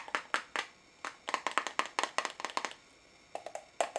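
Fingernails tap the walls and lid of a small pink translucent plastic tub full of pink noise putty, held in both hands. The result is a quick, irregular run of sharp, dry clicks with a hollow ring near 1 kHz and bright edges, each dying away almost at once. The taps come in bursts with short pauses between them.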